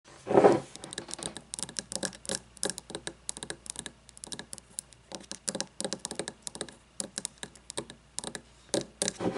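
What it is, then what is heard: Wax-filled glass candle jar. Long blue-painted fingernails tap rapidly on an upright frosted glass candle jar with a paper label, about 10 cm tall and filled with solid white wax, standing on a wooden table. A louder, fuller thump comes at the start, followed by a steady run of quick, crisp clicking taps with bright edges that die away almost instantly.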